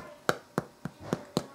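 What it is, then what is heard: Fully baked ciabatta loaf, sounds hollow. A fully baked ciabatta loaf with a lightly golden bottom is tapped five times, each tap giving a short, dry, hollow knock that dies away almost instantly. The hollow sound shows the bread is done.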